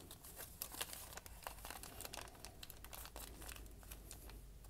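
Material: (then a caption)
Paper. A small folded sheet of white lined notebook paper, held by fingers with dark painted nails over a wooden surface, is crumpled and crinkled by hand. Quiet, dense crackles and sharp bright snaps run continuously over a low steady hum.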